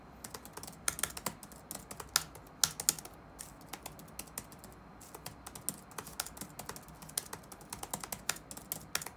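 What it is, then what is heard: Plastic laptop keyboard being typed on. Fingertips type rapidly on the black plastic keys of an open laptop resting on a wooden desk. Quick, bright, dry clicks come in uneven bursts and pauses, each tap dying away almost instantly over a faint low hiss.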